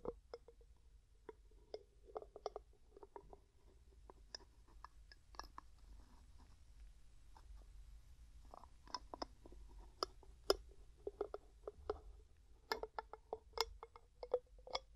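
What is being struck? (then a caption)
Glass jar with metal lid. Fingertips and nails tap and scratch the gold metal screw lid of a medium, clear, hollow and mostly empty glass jar. Quiet, sharp clicks and taps with a ringing tone near 400 Hz and bright scraping rise above a low background hum, with many short hits scattered across the clip.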